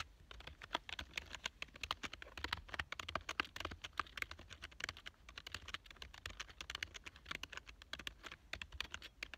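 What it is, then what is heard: Plastic computer keyboard being typed on. Fingertips type fast on the keys of a black plastic full-size computer keyboard lying on a couch. A rapid, uneven stream of dry, bright, clicky key taps with very short decay sits over a faint low rumble.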